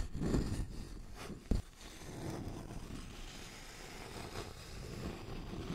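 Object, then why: Thin wooden notched board. A thin, flat, solid wooden notched trowel board with a scalloped edge is held at an angle and scratched and tapped with fingernails. Soft, low, rustling scratches run throughout, broken by a sharp, dry tap that dies away almost at once.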